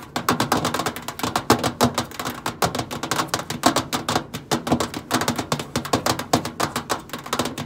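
Long pointed acrylic nails tap rapidly on the flat stainless steel side panel of a hollow microwave. The result is a long run of quick, dry clicks with a bright tick and a faint hollow knock low in the body. Each tap dies almost at once.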